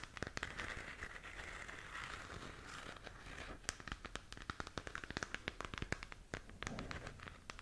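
Long nails scratch and tap across the surface of a glowing, hollow plastic galaxy moon lamp held in both hands. The result is a steady run of quick, dry crackling clicks and scrapes over a soft rustling hiss, with sharp bright ticks and almost no ring after each contact.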